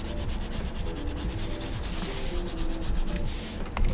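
A plastic stylus nib is rubbed and scratched across the solid glass surface of a large flat Gaomon PD2200 pen display in shading strokes. The result is a steady, rhythmic scratchy rubbing with bright, hissy pulses over a low rumble. A sharper scrape stands out near the end.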